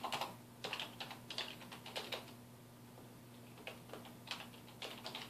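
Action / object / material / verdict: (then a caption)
tap / plastic computer keyboard / plastic / none. A black plastic computer keyboard on a wooden desk is typed on with the fingertips of both hands, producing quick, bright key taps in irregular bursts. The taps are separated by short pauses, including a longer gap near the middle, over a faint steady low hum.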